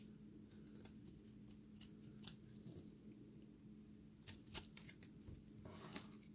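A solid dry recycled soap ball with a blue and orange core is carved and scraped with a metal utility blade, shaving off flakes. Soft, quiet scraping and crumbling is heard with short crisp ticks and brief bright scratches, over a steady low hum.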